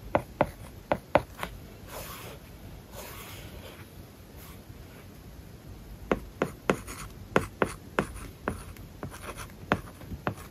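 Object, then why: Plastic stylus on a tablet screen with matte plastic film. A hard plastic stylus tip writes on an iPad lying flat, its glass screen covered with a matte, paper-like plastic film. A burst of short, dry taps opens the clip, followed by a stretch of soft, hissy scratch strokes. A second run of crisp tapping ticks, centred around 600 Hz with a brief bright edge, closes the clip.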